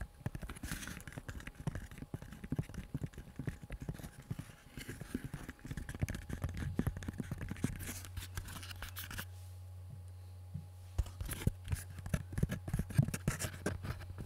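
A small, empty, hollow tan-brown leather pistol holster is held close to the mic in both hands while fingertips and nails tap and scratch it quickly. The sound is a dense stream of soft, dull taps and rough scratches, mostly low with little brightness. A steady low hum runs underneath through the second half.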